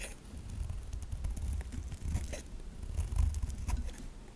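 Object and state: Bar soap scraped with a knife.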